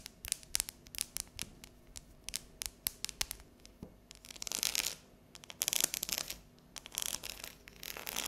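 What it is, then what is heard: Dark chocolate bar. Long neon nails tap and scratch across the ridged squares of a solid, unwrapped bar of dark chocolate lying on a counter. Quick, sharp, bright clicks come first, then louder bursts of high, dry scratching with more taps between them.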